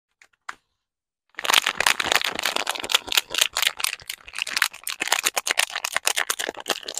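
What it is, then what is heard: Paper-wrapped soap bar. A small solid bar of Vital Chiffon Peel soap in a pink printed paper wrapper is held in both hands over artificial grass while fingertips and short nails tap and scratch the back of the wrapper. After two faint ticks and a brief silence, a dense run of quick, bright, crinkly paper taps and scratches follows, each dry and short with no ring.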